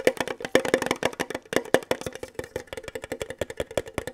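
A hollow, mid-size rectangular red printed metal Kellogg's tin, held in both hands (one gloved), is tapped rapidly with fingertips and nails on its flat sides. It gives a quick, irregular run of dry, hollow ticks with a steady tonal ping near 516 Hz and bright clicky edges. Each tap dies away almost at once.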